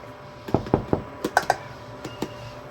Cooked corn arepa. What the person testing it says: To make sure your arepas are ready is when you feel the hollow sound. It has to make that sound.